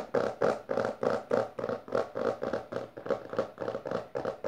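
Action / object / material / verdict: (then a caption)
tap / hardcover book with textured cover / cardboard / none. Long dark-painted nails and the fingertips of both hands tap and scratch fast on the front of a closed, solid hardcover book with a maroon textured cover lying on purple fabric. It makes a quick, fairly steady run of dry, papery scratch-taps with a mid-range body and little low end. Each burst dies away almost at once.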